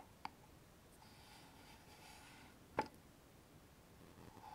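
A small hollow wooden box with a metal latch, held in the hands, is tapped with long nails and fingertips on its lid and front face. Two short, sharp taps with a brief ring, the second louder, stand apart over a quiet, faint hiss.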